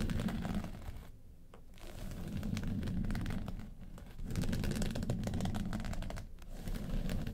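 Long pointed nails scratch across the lid of a small, hollow, hard makeup case covered in woven-texture yellow faux leather. Dense, rapid rasping scrapes sit over a low, hollow body resonance. They come in a few sustained bursts separated by brief quieter pauses.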